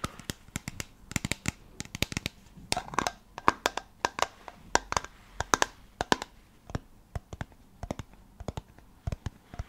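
Long nails tap and scratch the body and white screw cap of a small amber plastic supplement bottle with a paper label, probably holding pills, close to the mic, and the bottle may be shaken. Dozens of sharp, dry clicks with no ring are heard in quick, uneven bursts, with softer bright scratching between them.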